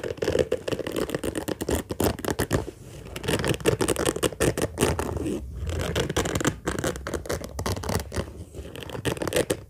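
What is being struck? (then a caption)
Padded fabric zippered case. Fingernails scratch and pinch at the surface of an orange padded fabric case with a zipper. The result is a dense, rapid scratching and rustling made of quick, dry bursts centered in the low-mids, with a few brief lulls along the way.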